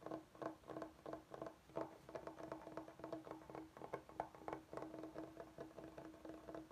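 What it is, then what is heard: Bamboo cutting board. Fingertips and short nails tap and scratch a large solid bamboo cutting board, on the side with a juice groove. A quick run of soft, dry, hollow taps with a mid-range tone around 680 Hz dies out almost immediately, mixed with light scratching.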